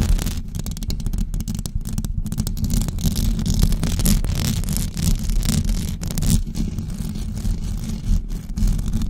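Long blue acrylic nails on both hands scratch a white knitted fabric cover stretched over a rounded microphone head. The result is a steady, dense, low rumbling scrape, with quick flickers of brighter crackle running through it for the whole clip.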